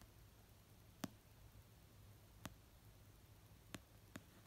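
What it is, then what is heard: Paperback book. An orange paperback novel of solid paper, lying on a fluffy blanket, is tapped slowly with fingertips and short dark-painted nails. Four soft, dry taps are heard, each a low muted thud with a brief bright click, over a quiet, steady background hiss. The taps stop instantly with no ring.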